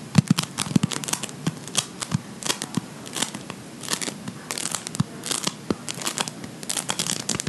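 A ball of blue play foam made of polystyrene microbeads is rolled and squeezed between the fingers of both hands. It gives off dense, irregular crackling and crinkling pops with bright, high edges over a soft low base, continuing steadily throughout.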